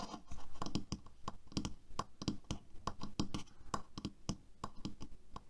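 A black plastic hairbrush resting on a table is fast-tapped and scratched with fingertips and nails across its bristles and back. The result is a quick, irregular run of short, dry taps over a soft scratching texture, mostly low in tone with brief bright clicks that die away almost instantly.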